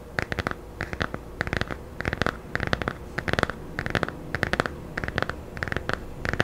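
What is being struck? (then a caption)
Laminated hardcover picture book. Long nails scratch and tap the glossy cover of a small, solid, laminated hardcover children's picture book held close to the mic. Short, dry scratching bursts come in quick, evenly spaced clusters, with a bright, papery edge over a soft, low undertone. Each stroke stops almost instantly.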